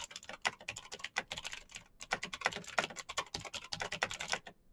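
Fast typing with the fingertips of both hands on a black, backlit Razer BlackWidow mechanical keyboard with plastic keycaps on clicky green switches. A rapid, uneven stream of sharp, bright clicks with almost no low end dies away almost instantly, broken by brief pauses before the final soft taps.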